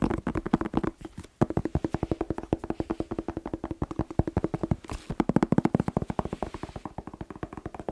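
A whole, fresh, hand-sized red bell pepper with hollow, waxy skin is tapped rapidly with fingertips and nails. About 63 quick, dry, hollow taps with a low resonant tone run almost continuously, with a brief pause near 1.3 seconds. Each tap dies away almost instantly.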